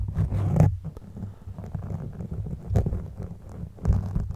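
The teeth of a blue plastic comb scratch across a black foam windscreen covering a microphone, producing a muffled, deep rumbling scrape with almost no high end. The rough, continuous scratching swells louder in a few strokes before fading back to a low, rustling grind.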